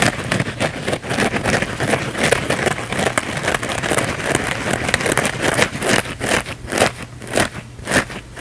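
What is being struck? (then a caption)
Thin flexible foam sponge. A thin, flexible blue foam sponge is held close in both hands and scratched fast with the fingernails. Dense, crackly scraping fills the clip in rapid broadband strokes that stretch up into bright highs, running almost continuously at first and then breaking into quicker separate bursts with short gaps toward the end.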